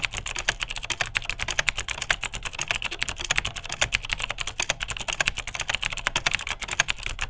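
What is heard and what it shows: Fingertips of both hands type steadily on a beige vintage full-size plastic Unitek K-158 mechanical keyboard with rare clicky Cherry MX Dark Blue switches. The result is a fast, even stream of sharp, bright clicks with a crisp upper-midrange snap and very short decay. A soft low clack sits underneath each keypress.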